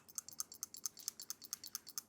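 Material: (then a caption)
Steel. A steel firing pin rattles inside a reassembled AR-15 rifle bolt carrier as it is carefully shaken, producing about eighteen quick, bright, dry metallic clicks in a rapid, slightly uneven rhythm. The rattle shows the pin is loose and free to move, so it is working correctly.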